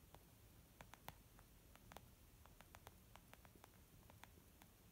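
Long nails tap on a small white textured leather zip makeup bag lying flat, soft and hollow. About fifteen quick, light clicks scatter over a low, steady background hiss, each one dying away almost at once.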